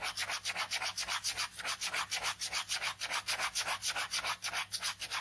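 A ballpoint pen scratches dense, rapid back-and-forth strokes across a white paper sketchbook page resting on fabric. About 19 quick, evenly paced strokes make a bright, papery hiss that swells and fades with each pass, with almost no low end.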